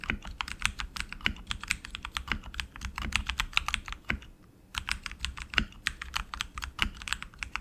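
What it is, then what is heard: Mechanical keyboard with plastic keycaps. Both hands type continuously with their fingertips on a tenkeyless RGB mechanical keyboard with tactile switches and plastic keycaps on an aluminum frame. Rapid, bright, sharp clacks carry a soft low thud under each keystroke and stop instantly. A brief pause comes just after four seconds before the typing resumes.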